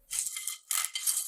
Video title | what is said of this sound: Recettes magiques à l'air fryer - Les meilleures astuces culinaires | Ils deviennent magnifiquement croustillants.